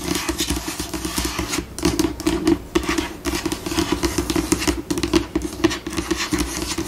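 Long pink acrylic nails tap at a slower pace on a flat, white, solid laminate tabletop, fingertips curled. The result is a steady run of short, dry, clicky taps with a bright edge and a faint scratchy texture between them.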